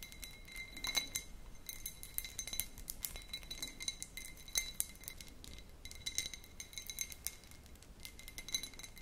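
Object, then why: Cut glass tumbler. A small, empty, clear cut-crystal glass tumbler with a faceted pattern is held in the hands and tapped repeatedly with long pink nails. The taps make a quick, uneven run of light, bright glass clinks with a steady ringing tone near 2 kHz and higher overtones. Each clink dies away almost at once.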